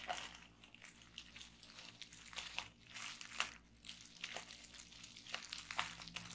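A large sheet of clear plastic bubble wrap, partly rolled on a table, is pressed, popped and scratched by fingertips with long nails. The result is a quiet, bright run of crinkling and crackling broken by many short, sharp pops and taps that die away almost instantly.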